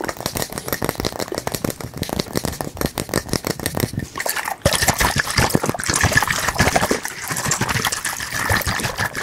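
A round glass bottle partly filled with blue-green liquid is shaken and tilted by hand, the liquid sloshing inside while fingertips tap on the glass. Dense, rapid clicks and taps run throughout, and just past the midpoint the sound turns brighter and fuller, with more hiss and sloshing.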